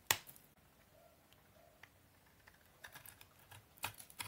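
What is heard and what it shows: A utility knife blade shaves and scrapes crunchy flakes off the top of a solid rectangular bar of dry brown Soviet laundry soap held in hand. Three sharp, bright crunches stand out, with fainter crisp scraping ticks between them. Each sound is very short, with almost no ring.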